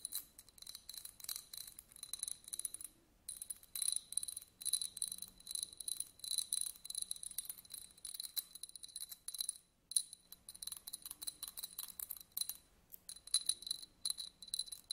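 A small, hollow, empty yellow glass votive candle holder with a studded surface is held in the hand and scraped with thin white sticks. The result is a continuous run of quick, bright, dry scratching clicks that sit almost entirely in the high range. The clicks have very little ring and almost no low end, with brief pauses near 3 and 10 seconds.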